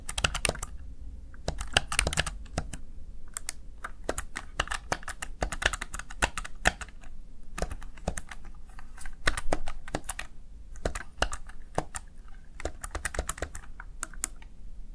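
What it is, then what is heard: Plastic gaming keypad being typed on. Fingertips press the keys of a Razer Tartarus plastic backlit gaming keypad, making a steady run of quick, clicky key taps. Each tap is short and sharp with a bright edge and almost no ring. The taps come in irregular bursts and pauses over a constant low rumble.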